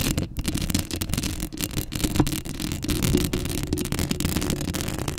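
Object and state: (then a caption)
Metal mesh microphone grille being scratched. Long acrylic nails scratch the hollow metal mesh grille of a black Blue Yeti microphone up close, producing a steady, dense rasping with a strong low, boomy body and a faint bright edge. The scratching runs continuously with small swells and a few sharper catches.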